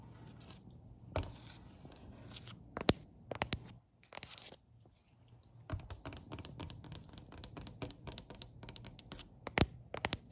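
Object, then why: Wooden plank step. One hand drums quickly on a solid, dark-stained wooden step with its fingertips and nails. Dry, sharp clicks and scratchy taps come in clustered bursts over a faint steady hum, with a short quiet gap near the middle.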